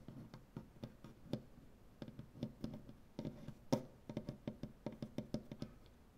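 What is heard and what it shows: One hand with dark painted fingernails taps on a large, solid wooden butcher-block tabletop in an irregular rhythm of about two dozen short knocks, with brief pauses. Each tap is a dull, woody thump centered low, with a faint bright click from the nails, and it dies away almost instantly.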